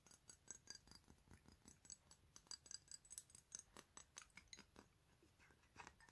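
A square, clear glass perfume bottle holding pinkish liquid is turned in the hands and tapped with fingernails. About 25 quiet, bright, clicky taps land in an irregular rhythm, each a sharp high tick that dies away almost instantly.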